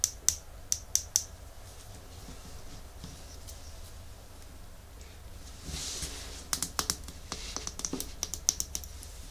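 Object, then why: Small glass bottle with plastic cap. Long nails tap rapidly on a small, full, red Essie glass nail polish bottle with a white plastic cap, held in the hands. A quick run of sharp, bright clicks opens the clip, followed by a quiet stretch, a brief soft rustle, and then another scattered series of crisp taps with almost no ring.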